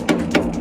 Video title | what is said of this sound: A quick trailer tour!! | you can hear it's empty ... hear that Hollow sound